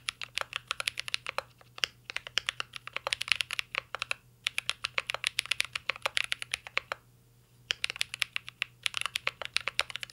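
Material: Plastic.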